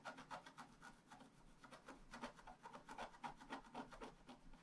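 A wooden stylus, held in the fingers, scratches away the black coating of a flat scratch art sheet with a metallic layer underneath as it lies on a table. Quick short strokes make a steady run of dry, raspy scrapes with a midrange rasp near 1 kHz and bright, hissy edges. Each stroke stops abruptly with no ring.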